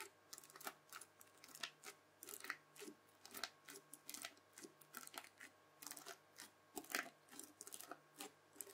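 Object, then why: Bubble slime pressed with a plastic fork. The tines of a white plastic fork press repeatedly into a disc of red bubbly slime, making quick, bright, sticky crackles and pops with each press. Short, crisp bursts repeat with brief quiet gaps between them, over a faint steady low hum.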